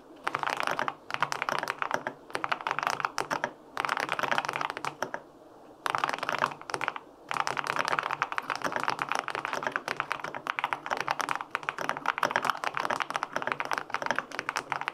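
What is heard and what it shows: Fingertips type on the plastic keycaps of a white-pink full-aluminum 65% mechanical keyboard with linear switches. Dense runs of quick, crisp clacks carry a mid-pitched thock and bright click edges. Brief pauses fall near 1, 3.7 and 5.5 seconds.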